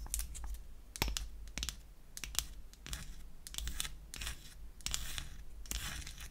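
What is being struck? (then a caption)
Small wooden lipstick tube tapped and scratched with long nails. Long acrylic nails tap and scratch on a small, light wooden lipstick cylinder held in the hand. The clip has quick, sharp clicks mixed with bright, rasping scratch bursts over a steady low hum.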